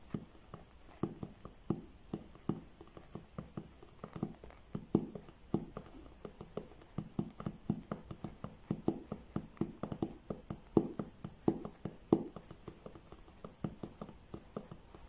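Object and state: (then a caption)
Paperback book page edges. Fingertips and nails tap and scratch along the stacked page edges of a thick paperback book held flat. The result is a steady run of many soft, quick, dry taps, mostly low-mid in tone, with faint scratchy rustles between them.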